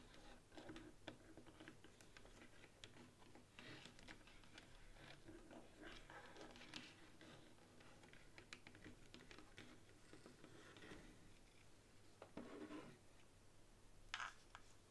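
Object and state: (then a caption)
Plastic game controller. Long nails tap and scratch across the top surface of a white plastic game controller resting on a table. Quiet, rapid plastic clicks and soft scratching scrapes run steadily throughout, with a few brighter, slightly louder taps near the end.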